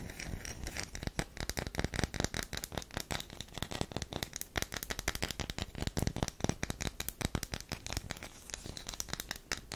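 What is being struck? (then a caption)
Bar of soap. Long nails scratch and dig into the side of a solid tan bar of soap held close. A dense run of quick, dry scratching clicks and crackles continues throughout, each short burst carrying a dull low thump under a bright, gritty edge.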